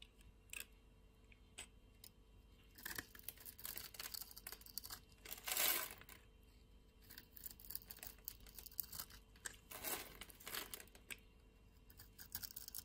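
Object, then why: Bar of soap. A solid pink soap bar, held in the hand of a person with long nails, is shaved and scraped with a utility knife blade into crumbly flakes. Bright, dry crunching and scratchy tearing sounds come in short bursts and longer rasping strokes, with the loudest scrape near the middle. The soap breaks away in crumbly flakes.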